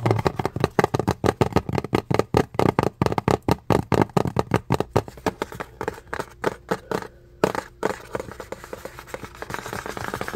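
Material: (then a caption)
Cardboard. Fingertips and nails tap rapidly on a hollow, printed cardboard box for an Intex electric pump, held facing the camera. Dry, dull, hollow thumps come in quick bursts, louder in the first half, then softer, clickier nail taps follow after a brief pause. Each tap dies away almost at once.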